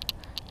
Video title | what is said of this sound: How to Fish Lipless Crankbaits - Bass Fishing (Surprising Outcome) | when I shake it you hear one clack